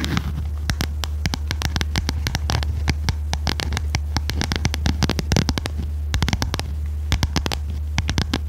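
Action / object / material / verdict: tap / cardboard notebook cover with metal spiral binding / cardboard / none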